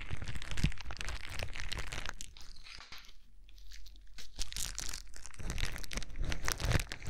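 A sheet of clear plastic bubble wrap is held against a microphone and crinkled and squeezed with fingertips, giving dense, irregular crunching and crinkling with a heavy low-end thump from the close contact. The rustling eases into a quieter, sparser stretch in the middle before building back into loud, busy crinkles toward the end.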